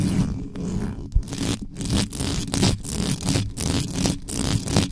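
Long pointed acrylic nails scratch fast across the top and sides of a black microphone's bare metal mesh grille, with its hollow capsule housing underneath. The result is a dense, irregular run of rough scraping bursts with a heavy low-end rumble and brighter hiss flaring in quick pulses.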